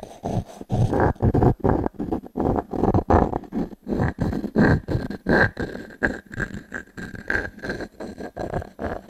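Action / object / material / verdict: scrape / pine log-slice coaster scratched with a wooden cube / pine wood / none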